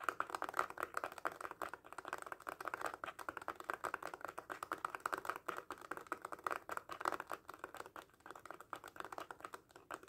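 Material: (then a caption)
Faux leather. Fingertips and short nails tap and scratch rapidly on a small red faux leather cat coin purse held mostly covered by both hands. A dense, steady stream of quick, dry clicks and light scratches fills the midrange around 1.3 kHz, with almost no low end and very short decay. The result resembles fast typing on a soft keyboard.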